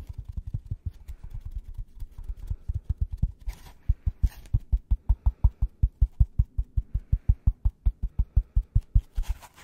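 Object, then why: Polystyrene foam packaging block. Gloved fingertips tap and scratch the flat face of a white polystyrene foam packaging block. A quick, fairly steady run of short, dull, low thuds is heard, broken by a few brief bright scratching bursts midway and at the end.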